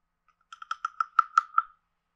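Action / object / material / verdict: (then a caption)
tap / carved hollow wooden frog guiro / wood / none. A wooden stick taps and scrapes a hand-sized, carved, hollow wooden frog guiro with a ridged back. Eight short, hollow, woody clicks ring out, each pitched around 1.3 kHz with bright overtones. They grow louder and come slightly further apart before stopping.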